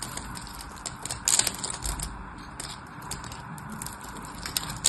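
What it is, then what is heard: Dry bar soap scraped with a knife. A small metal knife blade scores and scrapes the surface of a single solid, dry, orange-and-white striped bar of soap held in the hand, chipping off crumbly cubes. The result is a steady stream of crisp, dry scratching and crackling with bright, fast ticks, rising into a louder crunching burst early on and again at the very end.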